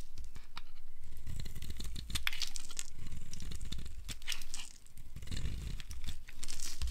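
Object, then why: Bar of soap carved with a blade. A flat cutter blade carves a solid, dry, blue-striped bar of soap in rapid, continuous strokes. The result is a steady run of crunchy, crumbly scraping and crinkling with bright, brittle flecks of sound.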